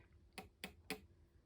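Nail clippers tap an emu egg that holds a live, moving chick, giving four short, sharp clicks with a quick decay; the last is cut off at the end. The taps sound solid, as expected for an egg with a living chick inside.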